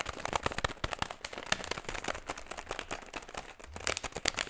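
An empty metallized plastic foil snack bag is squeezed and scratched with fingertips close to the microphone. A dense run of sharp, bright crinkles and crackles fills the clip, with louder bursts near the start and end. Only crinkling is heard.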